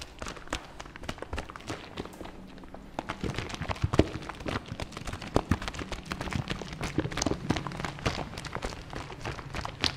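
Fingers tap rapidly on the hollow plastic body of a fabric softener bottle as it is moved in front of the mic. The result is a steady run of short, dry, hollow knocks with a low, boomy body and quick decay, over a soft rustle of the bottle shifting.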